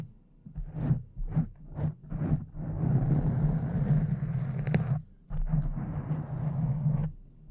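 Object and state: Foam microphone windscreen being scratched.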